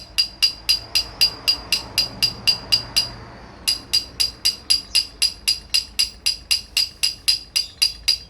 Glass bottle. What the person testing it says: มันเริ่มวิ่งแล้วมันจะเสียงมันจะเปลี่ยน